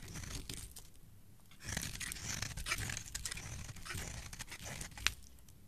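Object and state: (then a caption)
Bar of soap being carved. A solid, hand-sized, light teal bar of soap is held in the hand and shaved with a metal box-cutter blade, carving off flakes and shavings that fall away. Soft crisp scraping and crunching start quietly, then grow louder and denser with bright, crackly tearing strokes. A sharp click stands out near the end before the scraping fades.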